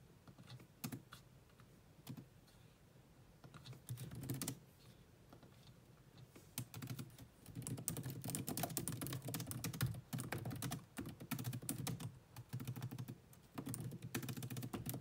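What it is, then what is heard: Laptop keyboard with plastic keys. Fingertips with long nails type fast on the black plastic chiclet keyboard of a grey laptop, producing many quick key taps. The taps are short, dry clicks with a low, muted body and bright edges. They come in irregular bursts broken by brief pauses, growing denser and louder in the second half.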